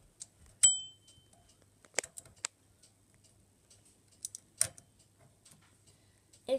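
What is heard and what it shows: Fingertips work the lever of a small bicycle bell with a shiny chrome metal dome on a pink plastic mount, clamped to the red pole of a child's cart with a wire basket. One bright, high ding with a lower partial near 3 kHz rings out early and fades within about half a second. After that, only scattered dry clicks and ticks follow rather than clear rings.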